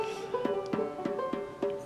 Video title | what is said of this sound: Tony's Banjo | kind of hear the tap tones a little bit lower